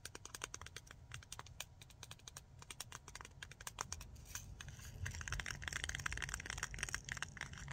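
Long nails rapidly tap and scratch the lid and rim of a small, clear, round, hollow plastic case. Quick, uneven, dry clicks come first, then the sound thickens after a few seconds into denser, brighter scratching. A steady low rumbling noise runs underneath throughout.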